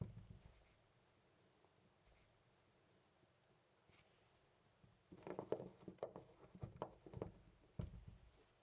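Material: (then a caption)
Brass. A loose brass-colored metal door knob on a white door is slowly jiggled and turned by hand. After about five seconds of near silence, a run of soft, dull metallic rattles and clicks follows for roughly three seconds, centered in the low-mids with little brightness. The loose knob shifts and clatters quietly in its fitting, with each click dying away almost immediately.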